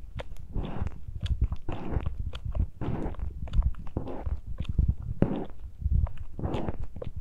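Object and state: Metal mesh microphone grilles scratched by fingertips.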